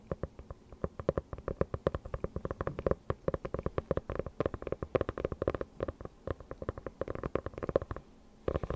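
Long nails tap and scratch the cover and edges of a closed dark hardcover notebook with a faux-leather cover, held close to the mic. A rapid, uneven run of short, dry taps with a hollow midrange knock near 535 Hz continues almost without a break. The taps pause briefly near the end before resuming.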